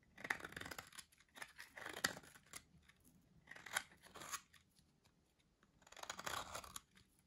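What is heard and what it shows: A solid, dry orange soap bar with a grid-cut surface is held in hand while cubes are sliced off it with a metal blade. Each pass makes a crisp, crunchy, brittle scraping burst, bright and dry with little low end, separated by short quiet pauses.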